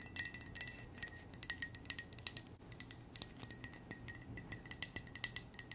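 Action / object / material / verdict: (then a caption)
tap / ceramic coffee mug / ceramic / none. A white ceramic coffee mug with a small red heart pattern and a red heart-shaped handle, hollow and empty, is held close and tapped with long nails. A quick, uneven run of light, bright clinks rings briefly over a faint steady background hiss.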